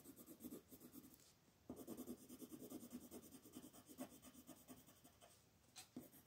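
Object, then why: Wooden colored pencil on a paper sheet. A wooden colored pencil rubs back and forth across a flat white paper sheet printed with a mandala, lying on a table and held still by the fingertips of the other hand, to fill in color. Quiet, dry scratchy strokes repeat in a steady rhythm, with a brief lull before the rubbing resumes.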